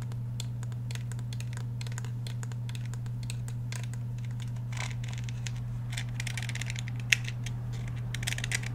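Fingernails tap and scratch the steel slide and polymer frame of a black Glock 17 pistol held up close. Many quick, dry, bright clicks and scratchy rasps come in irregular bursts over a steady low hum, with one sharper tap standing out near the end.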